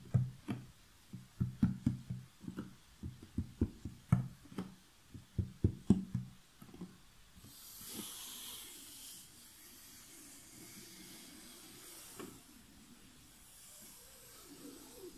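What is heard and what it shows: Long fingernails work over the printed lid of a large, closed cardboard jigsaw puzzle box resting on a table. The first half is a quick, uneven run of dull, low tapping thumps on the box. These give way to a quiet, steady scratching and rubbing hiss with a brief brighter scrape and one more soft tap.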